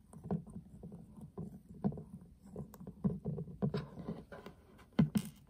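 A flat, hollow metal tin eyeshadow palette has its back tapped with fingertips, then its gold metal rim and heart clasp tapped and scratched with nails. The taps are quick, dull and hollow, with a low body and almost no ring, and a few sharper, brighter clicks and scratchy bursts stand out near the end.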